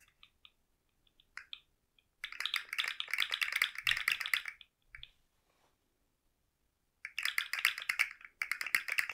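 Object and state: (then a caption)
Plastic articulated slug fidget toy. A rainbow segmented plastic slug fidget toy is held by its head and shaken, so its loose articulated segments rattle against each other. A few scattered light clicks lead into two long bursts of dense, bright, clattery rattling, separated by a quiet pause.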